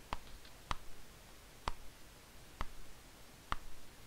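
Fingertips lift and turn the yellowed paper pages of an old paperback novel lying open on a desk, one by one. Five short, crisp papery snaps land at uneven intervals, each with a bright edge. Soft rustling follows each snap before fading into a low hush.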